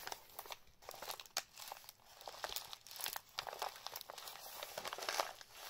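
Fingertips and palms rub, press and crinkle the brown paper wrapping of a medium-sized parcel for a Sega Master System Phaser light gun, taped and bearing a white label, as it rests on a table. The result is a quiet, continuous run of bright, papery crinkles and crackles with almost no low end, broken by sharper crunches that die away at once.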